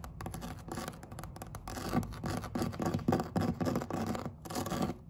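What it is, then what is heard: Woven vinyl placemat. Long red acrylic nails scratch and tap across the textured weave of a flat woven vinyl placemat. The result is a dense, uneven run of short, dry rasping strokes and crisp taps that spread from a low thump up into bright hiss, growing louder toward the middle before a brief pause and one last burst.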